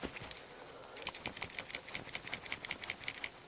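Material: Metal.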